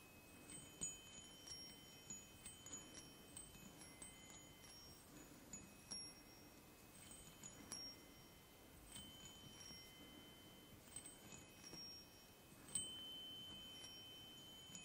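Fingertips tap three hollow aluminium chime tubes mounted on a wooden block, producing a steady run of bright, high metallic pings with sustained ringing tones that overlap and shimmer. Around fourteen separate strikes stand out over a soft background hiss, and one stronger strike near the end leaves a louder ring that carries to the close.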